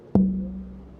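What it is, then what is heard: Red spruce guitar top. A single tap on the center of a red spruce guitar top with a salted maple rosette. It gives a short knock that rings out as a low tone around 190 Hz and fades over about half a second.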